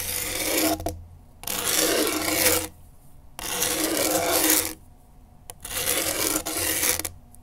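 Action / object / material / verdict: scrape / skateboard grip tape on a deck / grip tape / none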